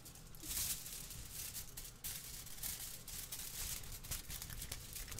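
A large, thin sheet of aluminium kitchen foil is held in both hands in front of a microphone and waved, shaken and crinkled with the fingers. Bright, crackling rustles come in uneven bursts over a low, rumbling handling noise, with no pause in the sound.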